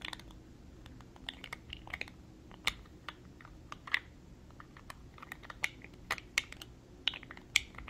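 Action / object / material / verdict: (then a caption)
tap / small thick-walled glass jar with metal screw lid / glass / none. A small, clear, thick-walled glass cosmetic jar with a gold metal-look screw lid, holding a small amount of makeup, is held in the hands and tapped with fingernails around the glass and the lid. The result is a quick, irregular series of sharp, bright clicks that die away almost instantly, over a faint low hum.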